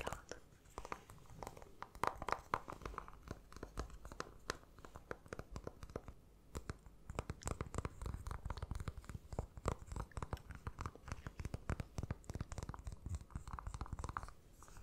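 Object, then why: Milk-chocolate egg. A small, hollow, unwrapped milk-chocolate Kinder egg is held in both hands and tapped and lightly scratched with fingernails. Rapid, dense, dry clicks and crinkly scratches run throughout, each dying away almost instantly, with a low, full body and a midrange tone around 1 kHz.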